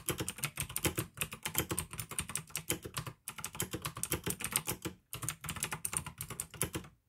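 Fingertips type fast on the keycaps of a full-size pink plastic AUKEY mechanical keyboard with RGB backlight, clicky blue switches and a hollow case. A dense stream of bright, sharp clicks rides over a hollow low clack, with two brief pauses near 3 and 5 seconds.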